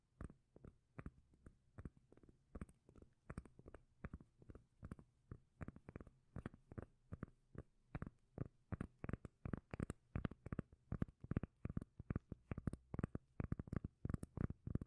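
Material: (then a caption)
Cork. A solid, round, palm-sized cork lid is held close to the microphone and tapped and scratched with long nails. It makes a quiet, steady stream of short, dry, bassy thuds with a muffled low body and faint bright clicking edges.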